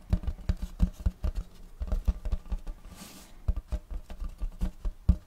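Fingertips of both hands tap rapidly on a large, round checkerboard wooden tray held upright. The result is an uneven, dull, low patter of short knocks that die away almost at once, with a brief quieter stretch and a soft hiss midway before the tapping picks up again.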